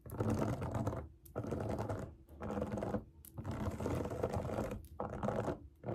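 Long nails scratch and tap the bubbles of a large round rainbow silicone pop it fidget toy resting on a table. Dense, rapid scratching and tapping comes in bursts of about a second each, separated by short pauses. The sound is soft and muffled, weighted toward the low and middle range.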